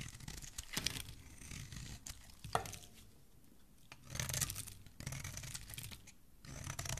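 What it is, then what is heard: Bar of soap being shaved. A metal blade shaves curls off the surface of a solid green soap bar with an embossed pattern, held in hand. Crisp, bright scraping and tearing bursts come in several runs with quieter pauses between, and a sharp scratch stands out partway through.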